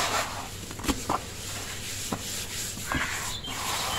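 Bare fingertips and palms rub, press and pat loose, slightly damp grey-brown sand-cement in a large bowl, smoothing and crumbling its surface. A steady, gritty, bright rubbing hiss runs throughout, broken by a few soft, dull pats.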